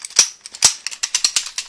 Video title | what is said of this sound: SOCOM Gear Hitman M9 Review [Airsoft] | when giving it a shake it can rattle around a little bit